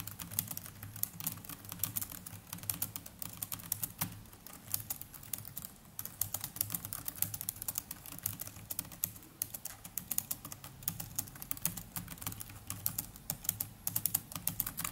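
Fingertips of both hands type continuously on the plastic chiclet keys of a small black netbook. The result is a steady stream of quick, dry, bright clicks with almost no ring, over a faint low hum.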